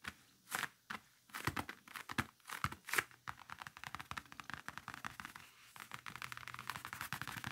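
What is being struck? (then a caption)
Faux leather briefcase. Fingertips and nails tap and scratch across the leather-like surface of a large, closed black faux-leather game briefcase with a red stripe and handle, lying flat. A few louder, separated taps in the first three seconds give way to a dense run of quick, dry scratching and crinkly scraping with a bright edge and no ring.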